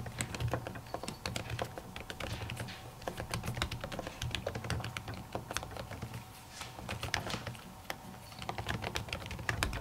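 Long natural nails and fingertips type rapidly on a silver laptop keyboard whose plastic keys sit under a thin white printed silicone cover. The result is a dense stream of quick, crisp clicking taps with bright edges, over a steady low hum.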